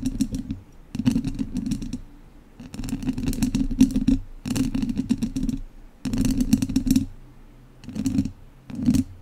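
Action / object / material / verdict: scrape / metal mesh microphone grille scratched with wooden chopsticks / metal mesh / none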